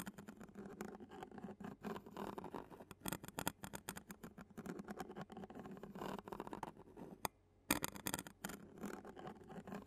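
A clear plastic spoon taps and scrapes the black metal mesh grille of a handheld Zoom recorder, making a quiet, steady patter of close, dry clicks and scratchy rasps. The sound carries a low body around 300 Hz and brighter crisp edges, with a brief near-silent pause shortly before the end.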